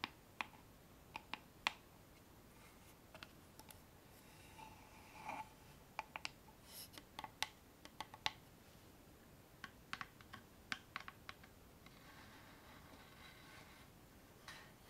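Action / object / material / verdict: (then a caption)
tap / small wooden box with metal clasp / wood / none. Long painted fingernails tap a small hollow wooden box with a metal clasp on its lid, held up in both hands. Quiet, sharp clicky taps come in uneven bursts, each dying out almost instantly with a bright, hollow tick around 2.4 kHz. Soft scratchy rustling fills the gaps over a faint steady hiss.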